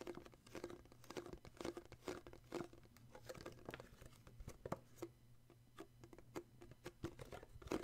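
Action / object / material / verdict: tap / small cardboard box / cardboard / none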